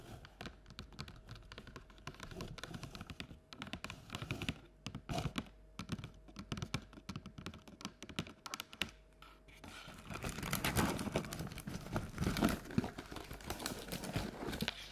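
Long nail tips tap quickly on the outer wall of a medium, round, printed cardboard Halloween candy bucket, which is hollow and has no visible contents. The clip is a dense, uneven stream of dry, hollow clicks and thunks with almost no ring. After about ten seconds the tapping gets louder and busier.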